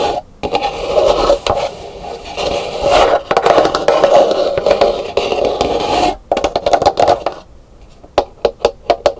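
Long pink nails scratch across the textured outer shell of a medium, empty, dried calabash gourd bowl that is painted and set upside down on a wooden table, making a dense, hollow scraping sound with a midrange resonance around 560 Hz. After a brief pause the scratching turns choppier, then ends in a quick run of sharp, separate taps on the shell.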